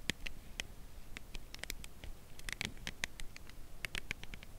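Long nails tap the narrow edge of a full cardboard chocolate bar box held horizontally. The result is a quick, irregular series of short, dry, bright clicks that stop instantly with no ring, over a faint low rumble.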